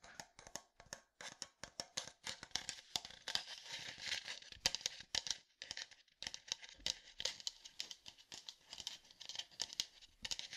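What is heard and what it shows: Fingertips tap and scratch a hollow red plastic sports water bottle with a black cap. Dense, rapid, crisp clicks and scratchy, crinkling rubs are mostly high-pitched with almost no low end. Each touch dies away almost instantly, and the tapping runs in quick bursts with brief pauses.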